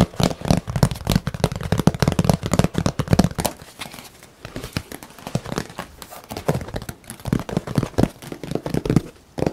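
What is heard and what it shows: A thin, rigid, flat painted canvas board showing a forest scene is held upright and tapped and scratched quickly with the fingertips across its surface. The result is a rapid, dense stream of short, dry, hollow taps with a low thud, mixed with a crinkly scratching texture. The tapping eases to a quieter stretch around the middle and then picks up again.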